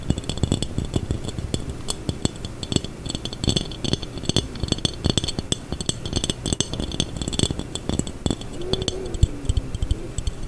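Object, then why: Textured glass jar. A textured glass jar is tapped, scraped and rattled in fast, continuous bursts of short, dry clicks and bright glassy clinks over a low, rumbling rattle. Near the end, a brief squeaky scrape glides up and down.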